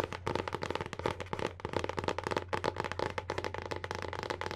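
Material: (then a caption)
Paperboard. Long painted nails rapidly tap and scratch the printed paper-covered board cover of a solid hardcover book, its front cover facing out. The result is a quick, continuous run of short, dry clicks and scratchy brushing with almost no ring, over a faint steady low hum.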